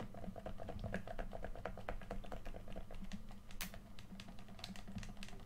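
A hand-sized, hollow red plastic PS4 controller is held in both hands while thumbs tap and press its face buttons and sticks. The result is a rapid, steady stream of short, dry plastic clicks with a faint tonal ring near 650 Hz, over a low rumble.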